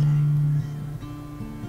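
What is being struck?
Nothing is struck.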